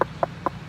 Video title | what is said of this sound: Stucco - Dryvit cleaning: Soft washing vs. pressure washing | if you knock on it like that you can kind of hear it's a little hollow sound